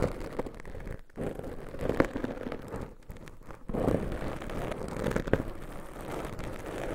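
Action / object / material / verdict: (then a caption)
scrape / foam microphone windscreen / foam / none. Two small black foam windscreens on pencil microphones, soft and porous, are scratched and squeezed by very long pointed nails. The result is a dense, muffled, low-heavy rustling and crackling with brief dips to near silence and a few sharper scrapes, with almost nothing bright on top.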